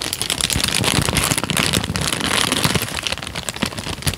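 A thin tan paper sheet is crumpled and then stretched flat with both hands, giving a dense, continuous crinkling. Bright, sharp crackles sit over a softer low rustle. The noise stays fairly steady throughout, with a few louder snaps near the end.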